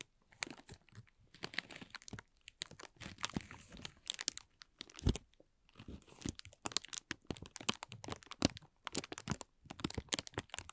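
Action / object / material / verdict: scrape / thin plastic film / plastic film / none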